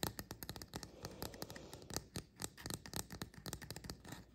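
Fingernails rapidly tap and scratch the cap edges and undersides of a small, upright painted resin mushroom fairy house figurine. The result is a quick, uneven run of short, dry clicks with brief scratchy scrapes between them, each tap fading almost instantly.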